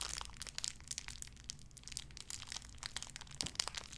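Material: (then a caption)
Plastic. A small clear plastic bag wrapped around a tiny white figurine is crinkled and squeezed between fingertips with long red nails. A dense run of bright, sharp crackles and crinkles continues throughout, with a few louder snaps near the end over a faint low hum.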